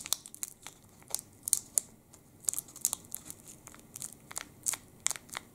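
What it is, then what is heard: Plastic chocolate bar wrapper being crinkled. A full Sport chocolate bar's plastic wrapper is held in both hands and crinkled with the fingertips. It makes a quick, irregular series of sharp, bright crackles and crinkles, with almost no low end. Each crackle stops at once against a quiet background.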